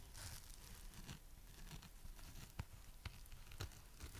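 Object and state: Foam sponge scratched and tapped.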